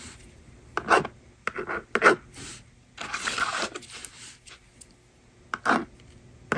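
A yellow plastic stylus writes numbers on a small blue and pink plastic magnetic drawing board resting on a table, scratching across its honeycomb screen while a fingertip with long nails holds the board. Short, dry scratchy strokes come in irregular bursts, with one longer rasping scrape in the middle. The sound centers in the mids around 1.4 kHz with a bright hiss and almost no low end.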